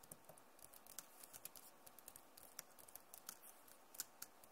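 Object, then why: Plastic laptop keyboard. Rapid typing and tapping on a backlit plastic Acer laptop keyboard with long nails and fingertips of both hands. Many quick, bright, dry clicks sound irregularly over a low, steady hiss, and some taps land sharper and louder than others.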